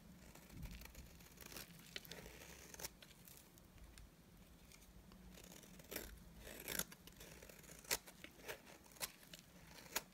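A solid, dry white bar of soap is held in the hand while a utility knife blade shaves curls off its face. Soft, bright scraping and crisp cutting sounds run throughout, with sharper scrapes standing out toward the end.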